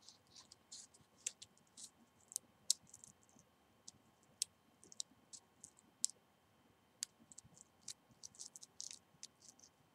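Medium-length painted fingernails scratch and tap along a single long dried cinnamon stick, a hollow quill of rolled bark held between both hands. The result is a quiet, irregular series of sharp, bright clicks and brief dry scratches, with almost no low end and no ring after each tap.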